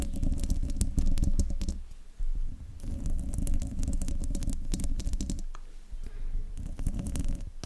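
Long nails on both hands scratch across the hollow metal mesh grille of a silver desktop microphone. The result is a deep, boomy rumble layered with dense, crackly scratching bursts, broken by brief quieter pauses before the scratching resumes.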